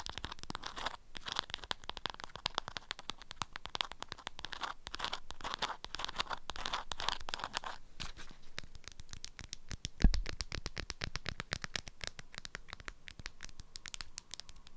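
Long nails scratch the top fold of an orange-print beeswax fabric food wrap around a package that is held steady. It makes a dense run of dry, crackly scratches, brighter and busier for the first eight seconds, then thinner and quieter, with one louder knock around ten seconds.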